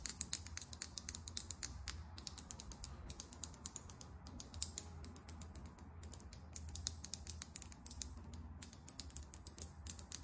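Long acrylic nails tap quickly on the chrome-finish cap and body of a small, filled lip gloss tube. The result is a dense stream of very short, sharp, bright clicks over a soft low hum.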